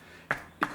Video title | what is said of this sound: First look at the Steyr Mannlicher Pro Hunter in 270 Win | it does not sound like it sounds solid throughout